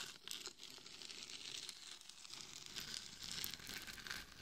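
Long nails scratch the temples and top of a hollow, glitter-covered mannequin head microphone. The result is a continuous, bright, crackling scratch with rapid gritty ticks and little low end.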